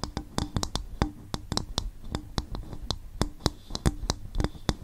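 An upturned, hollow, empty coconut shell bowl is tapped with the long fingernails of both hands in a quick, uneven rhythm. About twenty short, dry clicks land with deep, hollow thumps underneath and a bright, clicky edge on top, each dying away almost at once.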